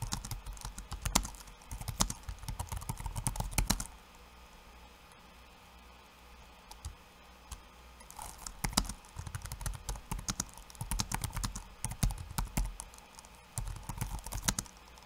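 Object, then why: Laptop keyboard with plastic keycaps. Fingertips of one hand type on a backlit laptop keyboard with plastic keycaps, making quick bursts of short, clicky taps with soft low thuds and bright edges. The typing runs for about four seconds, stops for a quiet stretch, then picks up again with a brief pause near the end.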